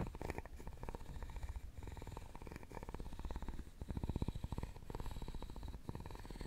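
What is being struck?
Round openwork carved wooden box.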